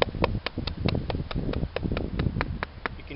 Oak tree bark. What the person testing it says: if the crack wasn't that noticeable, you can hear how it's hollow.